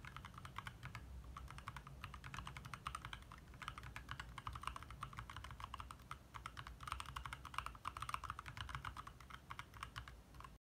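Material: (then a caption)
Plastic. Fingertips of both hands type rapidly on a compact backlit 60% mechanical keyboard with plastic keycaps, in the dark. A steady stream of short, clicky key taps with a mid-pitched clack and a bright edge runs over a low, constant hum.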